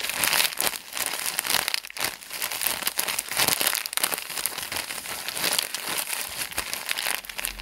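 Fingers of both hands squeeze and crinkle a small white package of thin plastic. The result is a continuous stream of dense, bright crackles and rustles with almost no low end, swelling and easing as the grip shifts.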